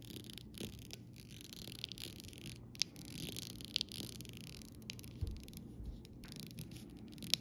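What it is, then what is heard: Acrylic rhinestone sticker sheet. The rounded tip of a copper-coloured metal stylus, held by a hand with long red nails, taps and traces over a solid, thin acrylic rhinestone sticker sheet: small multicoloured rainbow rhinestones and larger clear gems on clear plastic backing, lying on grey fabric. A quiet, steady bright scratching runs throughout, broken by sharp, tiny clicks that stop instantly with no ring.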